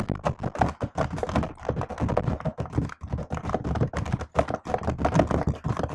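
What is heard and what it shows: A hand moves over a laptop keyboard with plastic keys, then types on it with long nails. A steady run of quick, dry taps and clicks follows, each dying away almost at once, with a soft, dull body and little brightness.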